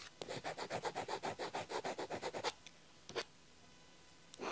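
A blue ballpoint pen scratches and rubs across an open paper diary page with handwriting, on a flat stack of pages, underlining and writing. A quick run of about fourteen short, dry scratchy strokes, bright and papery, fills the first two and a half seconds, followed by a lone stroke and then a softer rub at the end.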